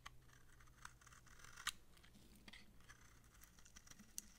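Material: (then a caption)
Soap. A utility knife blade scrapes thin shavings from the surface of a round, palm-sized, solid yellow massage soap bar with dark specks, held in the palm. The dry soap gives a quiet, steady crisp scratching with sharp, bright clicks and ticks scattered throughout, the loudest near the middle and end, over a faint low hum.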